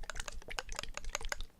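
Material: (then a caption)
Plastic, metal. A plastic bottle of polyurethane mix additive with a metal mixing ball inside is shaken, giving a quick series of sharp, bright clicking rattles as the ball knocks against the bottle. The ball is there to stir the contents so they don't come out with an ugly, improperly mixed consistency, and it rattles freely as it should.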